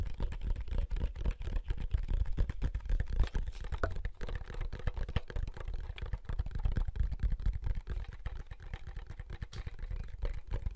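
Thumbs click the buttons of a large, hollow, wide black plastic handheld game console held in both hands while the fingers handle its casing. The result is a quick, uneven stream of short, dry plastic clicks and taps with a dull, low, hollow thump and almost no ring.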